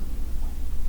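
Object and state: Nothing is struck.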